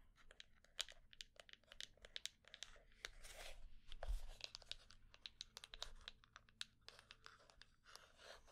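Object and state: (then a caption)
Small hollow wooden box. A small hollow wooden box with a small metal plate is held in the hands while long painted nails scratch and tap fast along its sides and top. Quick, dry clicks and bright scraping strokes come in dense bursts, with brief swells of rougher scratching in between, all quiet and close.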